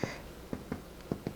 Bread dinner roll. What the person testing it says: you want to listen to that Hollow sound